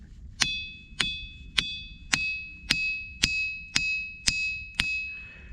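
A diabase boulder at Ringing Rocks County Park is struck nine times with a metal hammer at a steady pace. Each strike gives a bright, bell-like ring with a high tone around 3.5 kHz that sustains between hits. The boulder rings loudly and is an especially good ringer.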